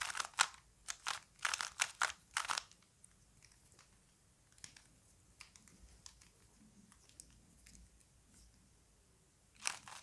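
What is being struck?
Plastic puzzle cube.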